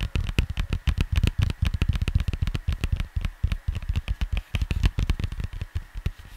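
Fingers tap on a cardboard vinyl record cover in a fast, steady run of about 44 short, dull, low thuds. Each tap stops almost instantly, with a faint papery tick on top.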